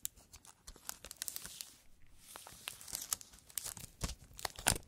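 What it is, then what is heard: Cellophane-wrapped cardboard box. Fingertips in fingerless gloves press, rub and handle the clear plastic cellophane wrap still sealing a small, flat cardboard puzzle box. The result is quiet, bright crinkling with a rapid string of sharp, short crackles and soft rustling between them.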